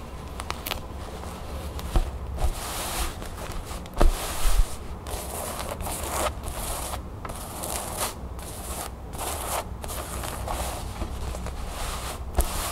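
Long nails and fingertips scratch and tap a long cream cotton canvas pouch with a blue crown print, soft and stuffed or folded, lying flat on a wooden table. A steady soft scraping rustle, bright and grainy, runs under scattered light taps and a few sharper knocks, over a low hum.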